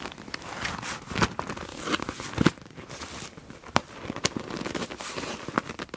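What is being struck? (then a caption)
Clear PVC plastic pouch holding felt-tip markers. An iridescent clear PVC pouch with a black palm-leaf print, full of felt-tip markers, is gripped and squeezed with long nails and fingertips. The plastic gives a steady, dense crinkling broken by sharp, bright crackles and snaps at irregular moments, with the markers shifting inside.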